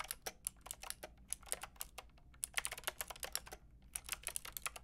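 A Lofree plastic mechanical keyboard with a plastic frame and round keycaps is tapped by fingertips with long red nails. About two dozen quick, bright, clicky keystrokes come in an uneven typing rhythm, each dying away almost at once, over a faint low background hum.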